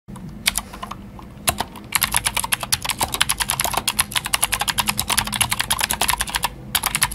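A full-size white Glorious GMMK White Ice mechanical keyboard with plastic keycaps and clicky Gateron Blue switches, resting on a black desk mat, is typed on quickly with the fingertips of both hands. A fast, steady stream of sharp, bright clicks with very short decay fills the clip, with a brief lull near the start and another short pause near the end.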